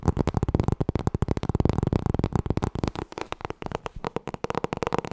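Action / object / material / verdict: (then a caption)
tap / hardcover book cover / cardboard / none. Long nails tap rapidly on the front cover of a solid black hardcover book with gold lettering, held in both hands. The steady run of quick, dull, low-pitched knocks ends each tap almost instantly, with little brightness, and eases slightly softer toward the end.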